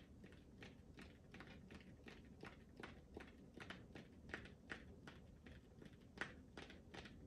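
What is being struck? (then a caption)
Hollow rubber ball. Fingertips tap and lightly scratch a smooth, hollow pink rubber ball held close to the mic. They make a quiet series of short, irregular tapping ticks with a hollow tone near 1.9 kHz and brief bright clicks. A soft low rumble and faint scratchy texture sit underneath.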